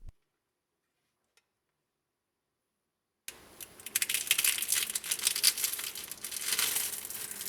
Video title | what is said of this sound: Better Than Baklava Try This Irresistible Turkish Dessert Baklava Lovers You Need to Try Dessert | rend doux mais toujours croquant